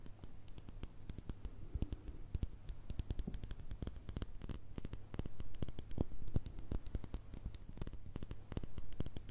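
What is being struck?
Small glass cosmetic jar with plastic lid.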